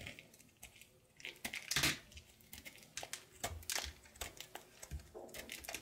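A thinning light blue soap bar is scraped and sliced with a knife over a pile of soap shavings. Irregular bursts of bright, crisp scraping and crackling follow one another with quiet gaps between strokes, the sound sitting mostly in the high range.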